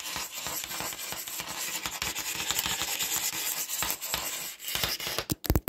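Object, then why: Smartphone back panel. Fingertips and short nails rub and scratch across the white glossy back of a smartphone with a black camera module, held over a wooden desk. A steady, bright, hissing scrape of dense friction strokes runs throughout, ending with a few sharper, louder scratches near the close.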